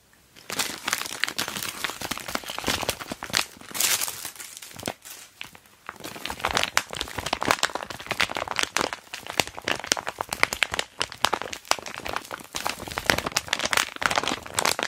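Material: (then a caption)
PVC plastic. Hands with long dark nails hold open, squeeze and handle an empty, hollow, pencil-case-size clear flexible vinyl (PVC) zip pouch with beige piping over a crinkly plastic star-print background sheet. The result is dense, bright plastic crinkling made of rapid sharp crackles that barely ring, with a brief quieter stretch around the five-second mark.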